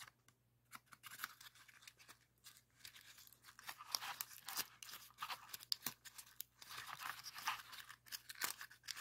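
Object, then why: Folded colored paper pop-it. Fingertips press and pop the hollow paper bubbles of a rainbow heart-shaped origami pop-it folded from red, orange, yellow and green colored paper. The result is a quiet, irregular series of short, dry, crisp paper crackles and pops, bright and papery with no low end, each snap dying away almost instantly.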